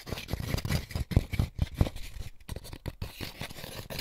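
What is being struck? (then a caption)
Molded paper pulp egg carton. Fingertips and short nails scratch and tap the inside and underside of an empty white molded paper pulp egg tray with hollow cups, held in both hands. The result is dry, papery rustling and scraping mixed with soft, dull taps in an uneven, fairly quick rhythm, with most of the energy in the low range.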